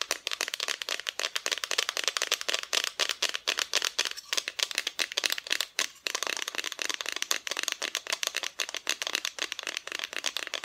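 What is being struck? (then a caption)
Flat painted wooden cutout decoration. Long nails tap rapidly across the front of a flat, solid, painted wooden cutout Christmas decoration. The sound is a dense stream of crisp, dry, bright clicks that stop almost instantly, with no low-end body.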